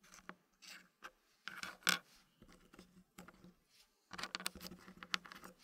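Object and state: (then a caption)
Wooden puzzle pieces being placed. Fingertips tap and patter solid dark-wood puzzle pieces as they are placed into a thin green wooden frame. The result is a quiet series of short, dry clicks and soft scrapes, bright and crisp, with each sound dying away almost at once.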